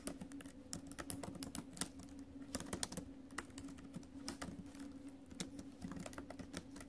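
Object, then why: Plastic-keyed laptop keyboard in a metal body. Fast typing with fingertips and acrylic nails on the plastic keys of a silver metal laptop makes a steady run of short, dry, bright clacks and taps. Each tap dies away almost at once, over a faint, constant low hum.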